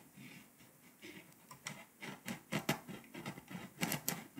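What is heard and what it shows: A pink scraper rubs and scratches the foil coating off a flat, foil-coated paper scratch-off map, with foil shavings piling up. A series of short, dry, bright scraping strokes rises and falls over a quiet background, with some strokes louder and sharper than others.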